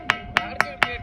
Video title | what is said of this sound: #minivlog #instagram #youtubeshorts #vlog #tekkali #tekkali #viral #reels #entertainment #trending | ఆ రాయి రాయి కొడుతుంటే ఐరన్ సౌండ్ వస్తుంది